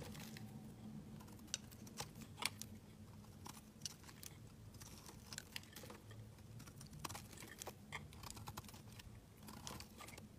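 A utility knife blade shaves the edge of a solid pink bar soap held in the hand, with the shavings piling below. Short, crisp, bright scraping crunches come in irregular bursts over a quiet, steady low hum.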